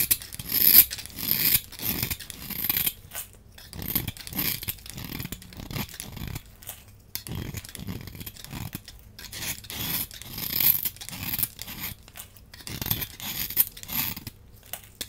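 A small metal blade scrapes a palm-sized, solid rectangular green bar of soap held in one hand, shaving off fine crumbly flakes. Repeated bright, crisp scraping strokes come in quick bursts with a dry, crumbly crunch and high hiss, each dying away almost instantly with brief pauses between.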